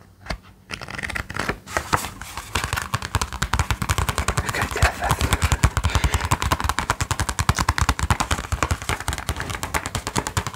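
A small sketchbook with a brown kraft cardboard cover and white paper pages is held in both hands while its cover is quickly tapped and scratched with fingertips and nails. After a few scattered taps, the sound builds into a rapid, continuous stream of dull, thumping taps with short, dry decay, mixed with bright scratchy scraping.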